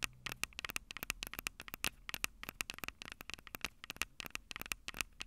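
Long nails tap and scratch the two small metal-mesh condenser capsules on top of a black plastic Tascam DR-05 handheld recorder, the same recorder capturing the sound. Dense, rapid, bright clicks and scrapes land in a quick irregular stream over a faint hiss, each tap dying almost instantly with a high ringing tint.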